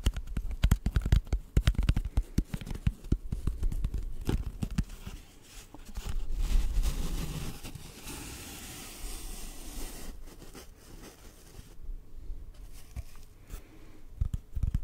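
An empty, hollow brown cardboard tube about 20 cm long is held horizontally over the mic and tapped with fingertips. It makes quick, irregular, deep hollow thumps with almost all the energy in the low range, plus a faint papery crackle. The dense tapping in the first few seconds gives way to a softer rustling stretch and then sparser taps, with a few louder knocks near the end.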